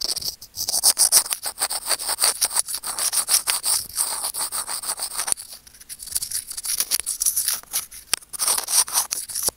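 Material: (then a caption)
Plastic. Curved-tip steel tweezers scratch a small, hollow white plastic earphone mic remote hanging on its cable. The result is a dense run of quick, bright scraping and rubbing strokes that are crisp and high with almost no low end. A brief quieter stretch falls midway before the scratching picks up again.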